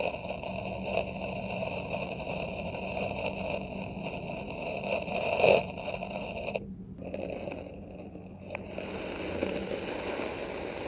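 A dark metal knife tip scratches a grid of grooves across packed red kinetic sand in a small square plastic tray. It makes a steady, gritty scraping crunch with fine crackle and bright hiss. The sound swells to its loudest about halfway through, briefly drops out, then resumes more softly.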